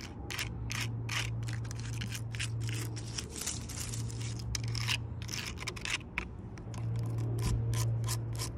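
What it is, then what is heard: Tree bark on a log. Long purple nails tap and scratch the rough bark of a solid log, including its weathered cut end. Quick, dry, bright clicks and scrapes come in a fast, uneven rhythm over a steady low hum.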